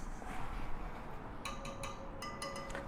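The metal spokes on the rear wheel of a Sur Ron X electric dirt bike, off the stand, are tapped to check spoke tension. After a stretch of low background rumble, a series of short, bright metallic pings ring out, each with a clear tone that fades quickly. Spokes are tightened or loosened until each gives the same tone.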